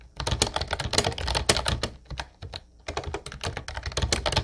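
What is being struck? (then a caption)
Plastic keyboard with round keycaps. Fingertips of both hands type fast on a light blue plastic Ubotie retro keyboard with round white keycaps and a hollow body. The result is a dense run of short, crisp clicky taps with a low hollow thud beneath them, easing into a few sparse taps and a brief lull near the middle before the quick typing resumes.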